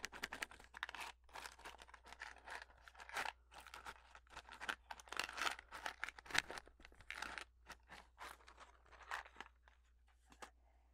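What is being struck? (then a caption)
Small cardboard matchbox. A small, hollow, printed cardboard Redbird matchbox is handled, tapped and scratched with long fingernails, and may be slid open. Quiet, dry, papery scratches and crinkly taps come in rapid, uneven bursts with a bright, crisp edge and almost no ring. A faint low hum runs underneath throughout.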